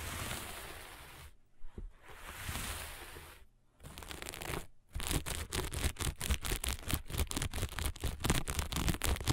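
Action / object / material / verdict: scrape / sequin-covered fabric sheet / sequins / none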